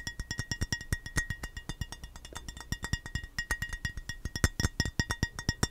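An empty rectangular clear glass baking dish, hollow and held in both hands close to the mic, is tapped rapidly with the fingernails for about 46 short clinking taps. Each tap is a quick, dry tick with a faint glassy ring around 2 kHz and bright overtones, over a soft low knock from the dish.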